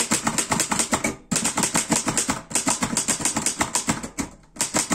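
Fingertips type fast on the keys of a black metal Erika 5 portable typewriter. A rapid run of sharp, bright clacks with a low-mid thump under each strike decays quickly, broken by brief pauses around 1.3, 2.5 and 4.3 seconds.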